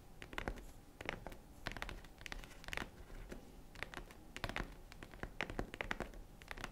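Fingernails tap and scratch the front of a tan faux-leather zippered jewelry case near its metal zipper. The result is a steady run of quick, dry taps mixed with rough scratching, with bright clicky peaks that die away almost instantly over a soft low rumble.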